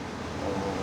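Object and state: Nothing is struck.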